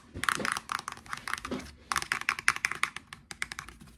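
A medium-sized, dark blue plastic Axe shower gel bottle, hollow with contents inside, is held in the hands and tapped and scratched with fingertips and short nails. The result is quick, dry plastic clicks and scratches with bright upper tones, coming in rapid irregular bursts with a short pause near the middle.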